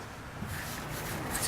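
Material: Nothing is struck.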